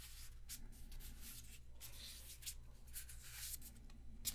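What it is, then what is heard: Paper playing cards. A small deck of thin paper playing cards is held in both hands while the fingertips rub and slide the cards against each other, as in shuffling and fanning. Quiet, bright papery swishes and rustles come in bursts over a low, steady hum, ending with a slightly sharper flick.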